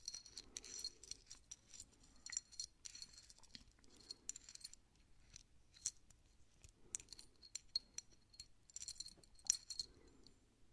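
A small solid metal Mickey Mouse head keychain on a steel split ring is handled as fingertips pry and turn the ring, then it is held up dangling so the charm swings against the ring. Quiet, bright metallic clinks and light jingling come in clusters of rapid taps throughout.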